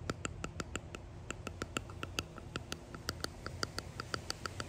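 A small clear resin hexagon box with embedded pressed flowers and gold flakes is tapped and scratched close up with long painted nails and fingertips. The rapid, crisp clicks ring briefly at a bright tone over a low, soft background rumble.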